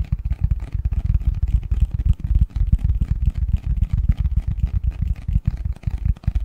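Fingers tap and scratch the front and edges of a medium-size, hollow, printed cardboard Christmas box lid held in both hands. The result is a steady, rapid stream of dull, low thumps, each dying away almost instantly, with faint scratchy texture on top.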